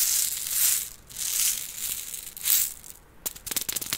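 A small container with beads inside is shaken, giving bright, hissy rattling swells that rise and fade. Near the end come quick, sharp clicks as the beads knock against the container.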